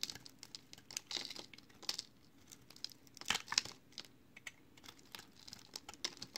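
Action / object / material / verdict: scrape / bar of recycled soap / soap / none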